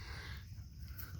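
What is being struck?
Nothing is struck.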